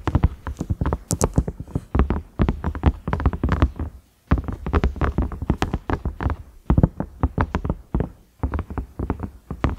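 Fingernails tap and scratch across the ridges of a large cream silicone microwave lid with a round knob. Rapid, dull, low taps come in quick bursts with almost no ring, broken by short pauses near four and eight and a half seconds.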